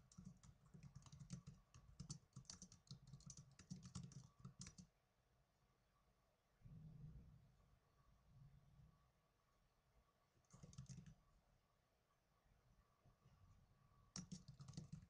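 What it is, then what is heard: Plastic netbook keyboard being typed on. Fingertips with blue-painted nails type on the plastic keys of a small black plastic netbook, making quick, crisp clicks with a bright tap edge and a dull low thump. A dense run of typing lasts about five seconds, followed by a near-silent pause broken by a soft thud and a short burst of keystrokes, and the clip ends with another quick flurry.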